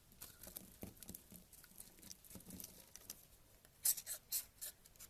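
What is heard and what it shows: A purple kitchen knife slices and scrapes chunks off a solid tan soap bar held in the fingers. It makes soft, crisp, bright scratching and pattering. Near the end come several louder, sharper crunching cuts.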